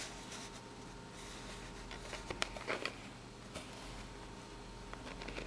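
Long natural nails scratch and tap the ribbed surface and edges of a small corrugated cardboard box. Soft, papery scratching runs throughout over a faint steady hum, broken by five short, bright taps that stop almost instantly.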